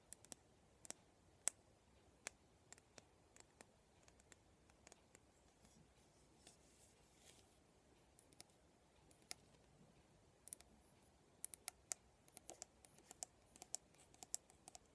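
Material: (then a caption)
Plastic. A black plastic vent hairbrush with a silver band on the handle is held up while the fingernails of the other hand scratch and flick its plastic bristles. Dozens of quiet, sharp, bright clicks and ticks come in irregular clusters over a soft, hushed background, each dying away almost instantly.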